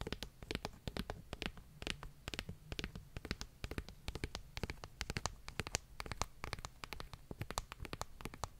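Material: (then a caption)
Paper. Long fingernails tap and scratch the glossy paper cover of a solid paperback book. The result is a quick, uneven run of sharp, dry clicks with bright tips, mixed with soft scratchy strokes over a steady low hum. Each tap dies away almost instantly.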